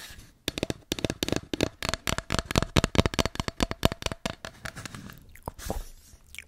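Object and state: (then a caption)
Hollow cardboard tube. An empty, hollow white cardboard tube is scratched and tapped with long nails at its open end and along its surface. The result is a rapid, quiet series of dry, crunchy taps and scratches with a faint hollow ring, then a few softer scrapes at the end.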